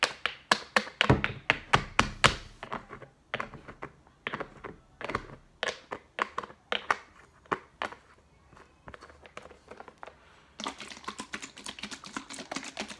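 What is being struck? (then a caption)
Plastic baby oil bottle with cap. A fingertip taps the white cap of a clear plastic baby oil bottle with a label, partly full, giving a rapid, uneven series of short, dry taps and thunks that die away almost instantly. Near the end the bottle is moved or shaken, turning the sound into a denser, brighter run of quick rattling clicks.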